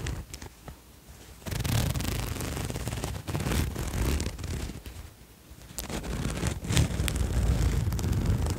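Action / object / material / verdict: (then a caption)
scrape / cotton hoodie with metal zipper / cotton, metal / none. A green cotton zip-up hoodie lies flat while fingers pull its metal zipper along and handle the collar fabric. After a quiet first second and a half, dense scraping and rustling rise with heavy low rumble and a few bright zipper ticks. The sound dips briefly in the middle, then grows louder and steadier toward the end.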